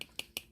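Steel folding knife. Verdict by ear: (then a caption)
Loose. A Cold Steel Recon 1 steel folding knife with a Tri-Ad lock is shaken hard, and its blade rattles in four sharp, bright metallic clicks. The rattle comes from loosened lock tension; with tighter tension the blade would not make this sound.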